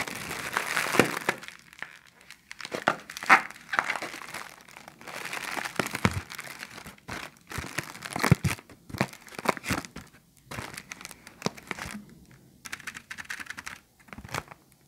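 An empty, thin clear plastic bag is held in the hands while fingertips and nails crinkle and pinch it. Dense, irregular crinkling and crackling comes in bursts with brief pauses, marked by sharp, bright snaps and occasional soft low thumps. Each crackle stops almost instantly, with no ring afterward.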